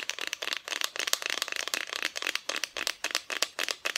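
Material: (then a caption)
Wood. Long nails tap rapidly across the front of a flat, solid, painted wooden Christmas decoration cutout. The result is a quick, uneven run of dry, bright clicks and ticks with almost no low end, each tap dying away instantly.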